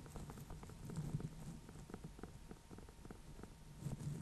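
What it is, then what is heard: Small painted pumpkin. Fingernails and fingertips tap the top of a small, hollow, orange-yellow pumpkin with a painted face, near the stem, while it is held in both hands. The result is a quiet, steady patter of soft, dull taps, mostly low and hollow in tone. Each tap dies away almost instantly.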